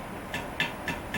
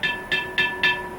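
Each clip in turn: First: cracked clay pot, dull sound. Second: uncracked clay pot that rings.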